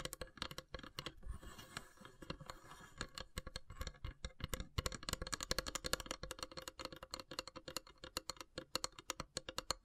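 Long grey nails tap rapidly along the carved, perforated lid of a long, narrow, hollow wooden incense box with brass elephant inlays. The result is a dense run of short, dry clicks with a bright edge and a little hollow low thump, broken by a brief softer stretch near the middle.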